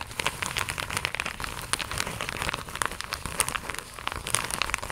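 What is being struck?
Plastic mailer pouch.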